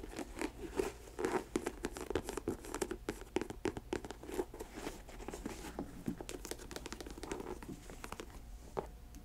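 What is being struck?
Leather sneaker.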